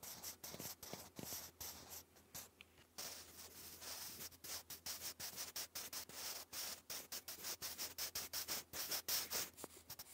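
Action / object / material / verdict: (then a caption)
scrape / graphite pencil on thick lined card / paper / none. A sharpened wooden graphite pencil writes English cursive across a thick sheet of grey lined cardstock lying flat. The result is quiet, bright, scratchy strokes in a fast, uneven rhythm of many short bursts over a faint steady low hum.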